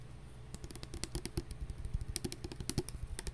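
A translucent plastic hand sanitizer bottle with a flip cap, partly full of liquid, is held and tapped with long nails. About twenty-two quick, light taps follow one another in an uneven rapid stream. Each is a short, dull, low knock topped with a bright click that dies away almost instantly.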